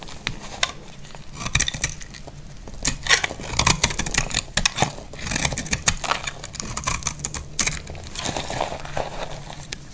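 A solid, dry amber translucent bar of soap held in the hand is scraped and carved with a snap-off blade, shedding crunchy flakes. Dense, bright crackling and crisp scraping ticks run continuously throughout, with short, louder bursts of crunching over a faint low rumble.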